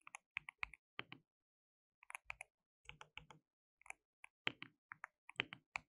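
Both hands type continuously with their fingertips on a compact, hollow, white-cased mechanical keyboard with white and pink plastic keycaps and RGB backlight. Quick, bright plastic clicks come in irregular bursts separated by brief pauses, each keystroke sharp and dying away almost at once.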